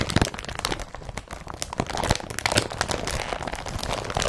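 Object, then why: Woven polypropylene carrier bag. Fingertips and nails crumple an empty blue woven polypropylene IKEA BRATTBY carrier bag with straps and press it flat on the surface. The result is a continuous, dense run of crisp crinkles and sharp crackles with short, dry snaps.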